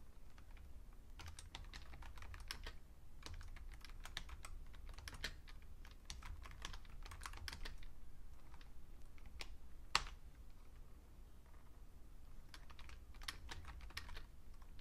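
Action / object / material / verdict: tap / plastic computer keyboard / plastic / none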